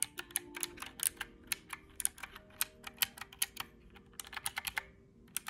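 Fingertips press the round black typewriter-style keys of a small, hollow, mint-green plastic calculator, producing 26 quick, bright clacking taps in an irregular typing rhythm. Each tap is sharp and dies away almost instantly. Faint steady low tones sit beneath the clicks.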